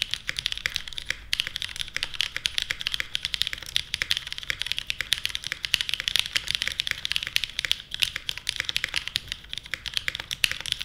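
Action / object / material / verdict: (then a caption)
tap / mechanical keyboard with plastic keycaps / plastic / none. Both hands type continuously with their fingertips on a small 60% Portal mechanical keyboard with a white case, plastic keycaps and Kailh Stem MX Black switches. The switches and keycaps bottoming out make a rapid, steady stream of sharp, bright clacks with almost no low end, each hit dying away almost instantly.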